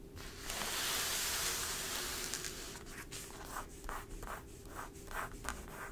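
Long, pointed dark acrylic nails and fingertips scratch and tap across the front page of a thin, flexible folded newsprint newspaper (The Epoch Times) lying flat on a dark table. A steady, bright, hissing scrape fills the first two seconds, then gives way to a quicker run of short, crisp rubbing strokes with high papery bursts.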